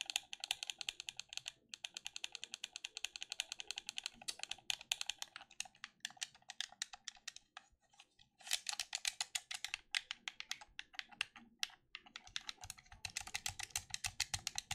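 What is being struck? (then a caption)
Plastic game controller. Fingertips rapidly click and tap the buttons and shell of a black plastic gamepad held close. The result is a dense stream of dry, bright plastic clicks that stop almost instantly, with brief pauses near 1.5, 8 and 12 seconds.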